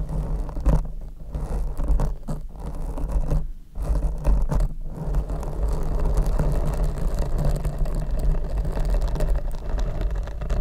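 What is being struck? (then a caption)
Open-cell foam microphone windscreen. Long red nails on both hands scratch a large, hollow black open-cell foam windscreen fitted over a Rode microphone. The result is a dense, muffled, rumbling scrape that sits almost entirely in the low range, with a steady low hum underneath. A few brief dips break it up in the first five seconds before it settles into a continuous scratching texture.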